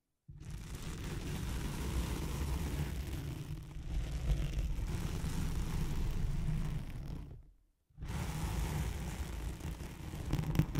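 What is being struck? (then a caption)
Nylon hook-and-loop velcro sheet. Long nails scratch and drag across a thin white nylon hook-side velcro sheet laid over a microphone. The result is a dense, continuous rumbling scrape, heavy in the low end, that stops briefly for about half a second before resuming.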